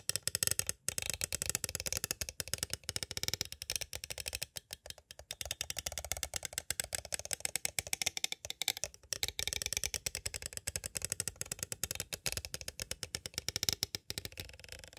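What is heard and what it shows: A small hollow clear plastic cassette tape case with a paper insert is quickly tapped and traced along its edges with two green plastic stick tools. The result is a steady stream of rapid, crisp, bright plastic clicks and ticks. Each one is very short, with almost no low end and no ring.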